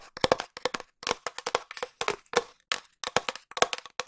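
A long hollow cardboard tube is tapped quickly with long nails while being moved around the microphone. Bursts of sharp, dry clicks with a hollow tone around 490 Hz and bright upper edges cut off almost instantly, separated by short silent gaps.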